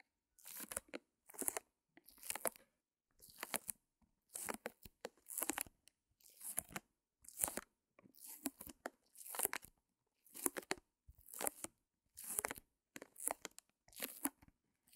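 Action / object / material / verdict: scrape / small canvas in plastic wrap / plastic film / none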